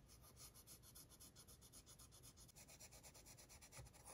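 A blue mechanical pencil tip scratches continuous sketch strokes across a thin, stained, aged paper sheet resting flat and solid-backed on a wooden easel. The quiet, dry rasping comes in rapid, uneven strokes, about four per second, with a bright scratchy edge over a soft low rumble.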